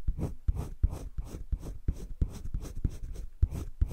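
A green wooden colored pencil, held in the fingertips, scratches and shades across a flat sheet of a spiral-bound drawing paper sketchbook. Quick, evenly spaced back-and-forth strokes each give a dry scratchy rasp with a soft low thud and a faint bright hiss. The strokes have no ring and stay close and quiet.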